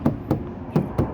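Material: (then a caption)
Steel. Four dull knocks on the steel hood of a 2009-2014 Acura TSX that has 80 mil butyl sound deadening applied. Each knock is a low thud that dies away almost at once, with no tinny ring, because the butyl reduces resonant vibrations.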